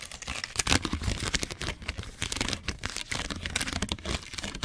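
A torn piece of a thin, clear molded plastic cookie tray, ridged, hollow and empty, is held in both hands close to the mic and crumpled and crinkled with fingertips and short nails. Dense, bright crackles and crisp snaps come in a rapid, uneven stream, with a soft low rustle underneath. Each crackle is short and dry, with almost no ring.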